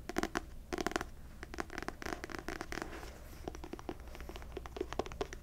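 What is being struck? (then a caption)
Paperback book with glossy paper cover. Long nails tap and scratch the glossy paper cover of a solid paperback novel, "The Wife Upstairs," held upright. The result is a quick run of crisp, dry clicks mixed with scratchy rasps. Each sound stops almost instantly.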